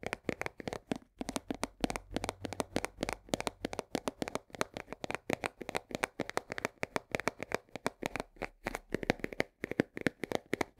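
Long fingernails tap quickly on the side and edge of a full 1 kg cardboard box of coarse salt. The result is a steady run of short, dry, papery clicks with a hollow midrange knock. Each tap dies away almost at once over a faint low hum.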